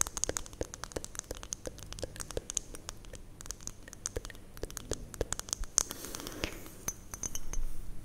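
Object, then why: Small glass hourglass with sand, tapped by fingernails. Long painted nails rapidly tap a small, hollow glass hourglass held horizontally in both hands; it is partly filled with yellow-green sand. The taps give dense, bright, short clinks with almost no ring over a soft low rustle, possibly sand shifting inside. Near the end a louder, grainier rustle swells under the clinks.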